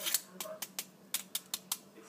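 Fried battered food is made to sound for a test of a good batter, giving sharp, bright crackling crunches with little low end. Nine crisp hits stand apart, showing the batter fried up crispy and crunchy.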